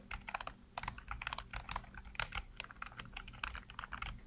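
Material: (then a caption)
Plastic. Fingertips type rapidly across a full-size black plastic keyboard with hollow keycaps, heard close up. Quick, light keystrokes make a dense run of crisp plastic clacks, each dying away almost instantly. A faint, steady low hum sits underneath.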